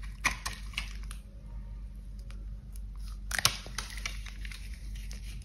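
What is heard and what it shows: A box cutter blade scrapes and carves flakes off a solid, dry, cream-coloured bar of soap held in gloved hands. It makes short, crunchy, crackling scrapes with bright, sharp edges that stop quickly, over a steady low hum.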